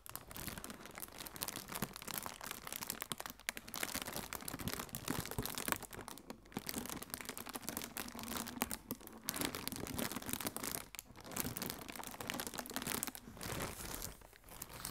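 Fingertips with long painted nails squeeze and crinkle a strip of inflated, blue-tinted AirPlus plastic shockproof air cushions, hollow and air-filled. The result is a dense, continuous, bright crinkling and crackling texture at a soft level, broken by a few brief lulls across the 15 seconds.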